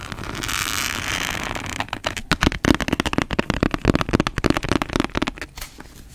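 Long fingernails scratch and tap the blue cloth cover and gilt illustrated panel of an antique hardcover book, "The Sea and its Wonders," held closed in both hands. A steady, airy scratching hiss runs for about two seconds, then gives way to a rapid, uneven run of about twenty sharp, dry taps with a low, hollow thud under them.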